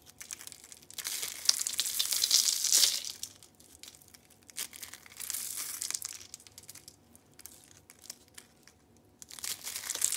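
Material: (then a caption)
Soap. Orange and beige rolled dried soap curls, hollow spirals, are crushed between both hands into flakes. The result is bursts of dry, bright crunching and crinkling, loudest around the second and third seconds, again near the middle, and at the end, with quieter crackles in between.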